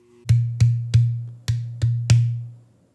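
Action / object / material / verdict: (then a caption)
knock / bare wooden drum shell / wood / none. A bare, headless 14-inch drum shell with a natural wood interior, vent holes and a black wrapped exterior is held hollow and open-ended in one hand and knocked six times with the knuckles of the other. Each knock gives a sharp click over a low, ringing tone near 117 Hz that decays within about a third of a second.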